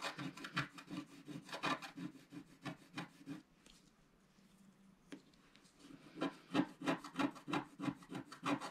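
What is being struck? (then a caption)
Wooden stylus on coated scratch-art paper. A wooden stylus scratches the coating off along the left edge of a flat, black-coated scratch-art paper sheet held in the left hand. It makes quick, rhythmic rasping strokes, about three per second, with a low pitched tone under a bright scratchy hiss. The strokes stop for about two seconds in the middle, then resume at the same steady pace.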